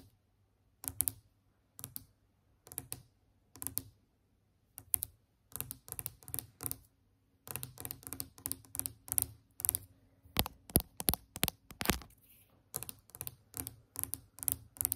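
A solid, glossy varnished wooden tabletop is tapped with long acrylic nail tips. Short clusters of quick, clicky taps give crisp bright transients over a soft low thud, building from sparse bursts into denser, faster tapping with sharper individual knocks in the second half. Each tap dies away almost instantly.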